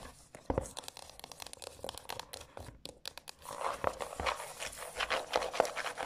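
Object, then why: Paper-covered cardboard hardcover book. Long acrylic nails scratch and tap along the spine and across the textured printed cover of a decorated, medium-sized, solid hardcover journal with a paper-covered cardboard cover lying on a table. Dry, crinkly scratching mixes with many short, bright taps at an uneven pace. The second half grows louder and denser, with more scratching.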